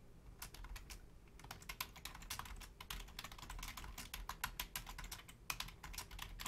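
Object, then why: Plastic computer keyboard. Fingertips and long nails type on a full-size black plastic Logitech keyboard with low-profile keys, including on the number pad. A steady run of quick, bright plastic clicks and taps comes in uneven bursts over a faint low background hum. Each keystroke dies away almost at once.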